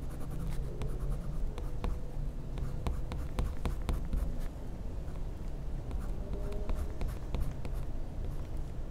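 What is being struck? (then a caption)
Wax crayon on a paper sheet. A blue wax crayon is rubbed in small circular strokes to fill in colour on a flat, solid white paper sheet in a sketchbook, while the other hand steadies the paper. The result is a soft, steady, low scratchy rubbing, dotted with faint brief ticks, at a quiet, even level throughout.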